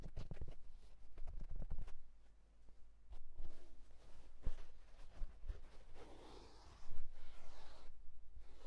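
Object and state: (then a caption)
Wool fedora hat. A houndstooth wool tweed fedora is held and scratched with fingertips on its crown and brim. A burst of quick, soft taps and scrapes gives way to a quiet pause, then steady, dry fabric scratching with brighter rustling toward the end, over a faint low hum.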